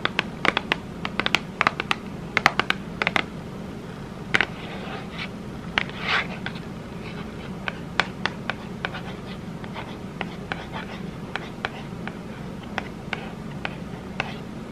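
Long red nails tap and scratch the surface of a small, printed Ghirardelli chocolate box made of thin cardboard, which is held upright and appears full. Many sharp, quick clicks land at uneven intervals, mixed with short papery scratches, over a faint steady low hum.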